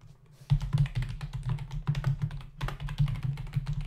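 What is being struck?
Plastic computer keyboard.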